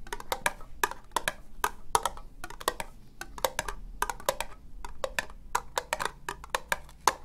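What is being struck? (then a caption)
Ribbed plastic cup. Long nails slowly tap an empty, hollow orange ribbed plastic cup. The result is a steady series of short, dry clicks with a woody, hollow tone centered around 1 kHz and bright edges. Each tap dies away almost instantly.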